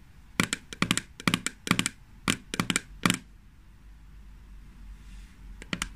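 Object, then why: Small plastic cream jar. Long fingernails tap a small green plastic jar of hand cream on its lid and sides, making clusters of quick, dry, clicking taps with no ring. The jar is then lifted and held in the hands, giving a stretch of soft, quiet rustling before a few final taps.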